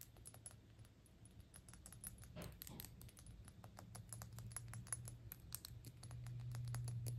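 Long pink nails fast-tap the small, hollow, shiny gold-tone cylindrical metal cap on a Gucci perfume bottle. The result is a quick, steady run of about four short, bright clicks per second, each dying away almost instantly, over a low, constant hum.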